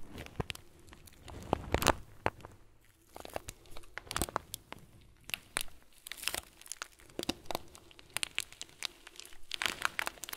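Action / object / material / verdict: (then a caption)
shake / plastic bag of foam beads / plastic, foam / none. A thumb presses into and squeezes a round, clear plastic bag full of tiny white foam beads. This produces soft, dense crinkling and crackling with many short, bright clicks in irregular bursts over a quiet background, louder near the start and end.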